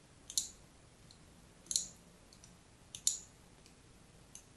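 A fine blade scratches a crosshatch pattern into the surface of a solid, hand-sized pink-and-white striped soap bar held in the hand. It makes short, crisp, bright scraping clicks with almost no low end, heard as three main bursts, each a quick double stroke. Fainter strokes follow at the end, all against a quiet background.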